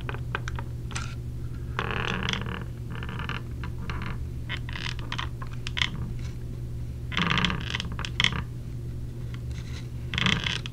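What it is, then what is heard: Plastic earplug case tapped with nails. Long nails tap on the lid of a small clear plastic clamshell case holding earplugs, held in the hand. Quick, bright plastic clicks and brief scratchy bursts come in irregular clusters over a steady low hum, with a few louder taps standing out.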